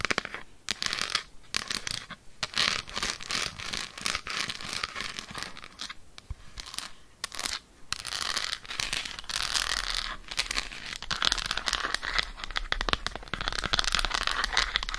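An unwrapped solid Lindt dark chocolate bar is handled, flipped and then held while long nails tap and scratch its surface. Fast, dense, bright clicking taps mix with scratchy rustles, dipping into brief quiet gaps before resuming at a steady pace.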